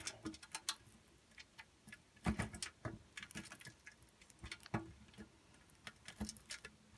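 A solid pink bar of soap is grated against the holes of a steel box grater, heard from inside the grater, as long soap curls fall away. Quick, dry, crisp rasps and scrapes follow one another at an uneven pace, with bright scratchy edges and soft low bumps. Each stroke stops short with almost no ring.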